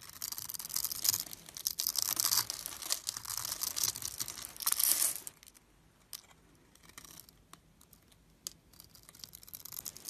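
A metal blade cuts and scrapes across a solid, palm-sized purple glittery bar of soap held in the fingers, shaving small cubes off its pre-scored grid surface. Dense, bright, crackly scraping fills the first five seconds, then gives way to near silence broken by a few faint, sharp ticks and crumbles.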